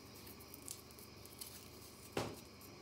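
Long natural nails scratch a small, round, white-pink compressed powder bath bomb that is solid and dry and held in one hand. Three gritty scrapes stand out over a quiet hiss: two faint, bright ones early, then a louder, fuller crunch near the end that fades quickly.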